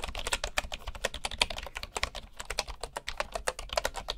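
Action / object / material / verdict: tap / bamboo keyboard with wooden keys / bamboo / none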